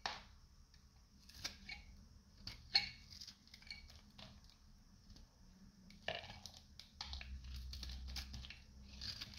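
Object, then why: Soap bar scraped with a knife. A solid, hand-sized, light blue oval bar of dried soap with a dark coating is held in the hand and scraped with a metal utility knife. Quiet, dry, bright crunching and crackling scrapes come in short bursts over a faint low hum, and crunchy flakes come off the bar.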